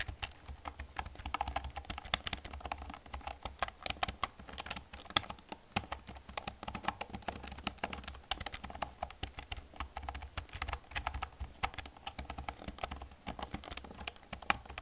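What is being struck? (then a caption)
Plastic computer keyboard. Fingertips with long nails type steadily on an old black plastic computer keyboard, producing a rapid, continuous stream of sharp, bright clicks and clacks. A low, steady hum sits underneath the dry, quickly fading keystrokes.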